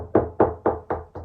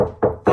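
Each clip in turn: First: solid section of dot and dab plasterboard wall. Second: hollow section of dot-and-dab plasterboard wall.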